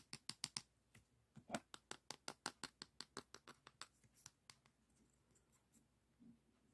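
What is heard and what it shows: Fingertips and nails scratch and rub the abrasive surface of a long, flat, thin beige emery board nail file held in both hands. About 20 short, dry, bright scrapes come in a quick, fairly even rhythm over the first four and a half seconds. They then thin out into fainter, softer rubbing.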